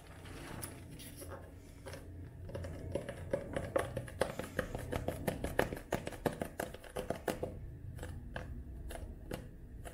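A paperback book held flat has its glossy cover and paper page edges tapped with long nails. The result is quick, dry, clicky taps that speed into a dense run in the middle and then thin out, each ending almost instantly with a faint tone near 500 Hz over a low background hum.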